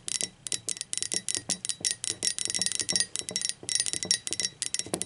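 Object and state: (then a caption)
Ceramic mug tapped with fingernails. Long pointed acrylic nails tap the body and base of a hollow blue speckled ceramic mug, held upside down and on its side. About twenty quick, unevenly spaced taps each give a short, bright, high clink that dies away almost at once.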